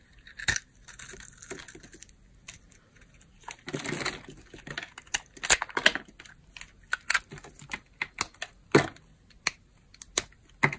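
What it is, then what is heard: Dry bar soap being carved. A utility knife blade scrapes and cuts a solid blue bar of dry soap carved into layered flakes and held in the palm. Sharp, bright crunchy snaps and crackles come in irregular bursts, with a longer rough scraping stretch around the fourth second. The hits are dry with almost no ring.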